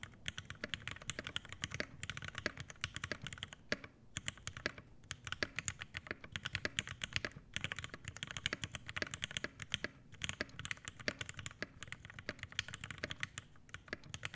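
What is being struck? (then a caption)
Mechanical keyboard, PBT keycaps, brass plate, aluminium case. An Iron180 80% mechanical keyboard with Hyperglide Black switches, an aluminum case, a brass plate and PBT keycaps is typed on continuously with the fingertips of both hands. Quick, crisp keystrokes come in a steady stream, each short and dry with a bright clack over a light low body. The flow thins briefly around 4 and 10 seconds before the typing picks back up.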